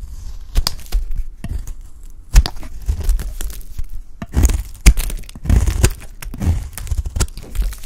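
A dry, solid white bar of soap held in the hand is cut and scraped with a utility blade, and chunks break off. Dry crunching, scraping, and cracking sounds come in irregular bursts, with a low thud under each cut and bright, brief crackles on top.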